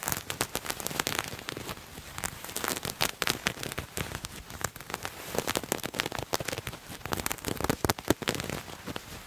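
Fingernails scratch and rub a purple patterned fabric garment bunched in both hands. The result is a dense, continuous run of dry, crackly scratches and rustles, full of sharp, bright bursts that stop almost instantly and rise and fall in loudness throughout.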